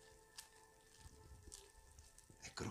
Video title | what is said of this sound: POLLO AL FORNO ALLE ERBE AROMATICHE E SUCCO DI LIMONE di Chef Max Mariola | È croccante, è scrocchiarello come piace a noi.